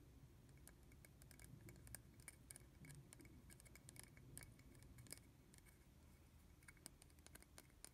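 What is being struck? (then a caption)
Small plastic bottle cap. Fingernails tap and scratch the top and rim of a small hollow red plastic bottle cap held in the hand. Quick, sharp, bright clicks with almost no ring come in an irregular patter over a soft, steady low rumble. The sound stays quiet throughout.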